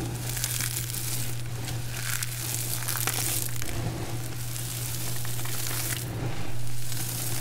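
Both hands press and squeeze into a heap of small, brittle, multicolored dried soap chips, crushing them with fingers and palms. The result is a continuous dense, crunchy crackling with bright, crisp grain that swells slightly near the end. A steady low hum runs underneath throughout.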